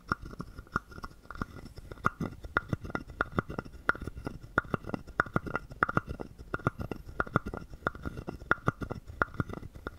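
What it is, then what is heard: Carved wooden frog guiro. A wooden stick is scraped along the ridges of a palm-sized, hollow carved wooden frog guiro. The result is a steady, quiet run of short, dry wooden clicks and rasps with a faint hollow tone behind them.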